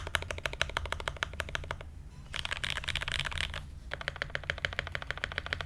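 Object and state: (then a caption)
Mechanical keyboard with ABS keycaps and brass plate. An SG81M mechanical keyboard with Everglide Aqua King switches, blue ABS keycaps and a brass plate is typed on steadily with the fingertips of both hands, producing quick, sharp, bright clacks over a low steady hum. After a brief lull, the keystrokes blur into a denser, hissier stretch of rapid typing, then separate back into distinct clacks.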